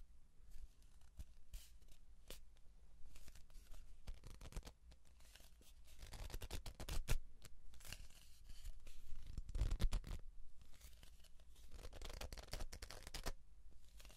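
A hollow brown cardboard tube is gripped in both hands while the hands rub and twist along its surface. The result is soft, dry scratching and rasping with a low rumble underneath, rising into louder, brighter tearing-like bursts in the middle and toward the end.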